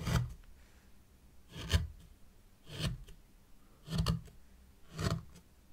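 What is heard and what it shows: A white plastic stick drags lines through fine sand in a small hexagonal zen garden tray. Five separate soft, gritty scrapes are heard, each a low rumbling rub with a bright, hissy edge, separated by near silence.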